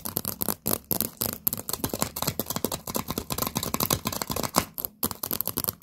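Long painted nails tap and scratch on an upside-down, hollow, empty stack of orange paper party cups still in their plastic wrap with a label. Quick, dry, crinkly taps and scrapes follow each other in a rapid stream, each dying away almost instantly, with a bright papery texture centered around 1 kHz.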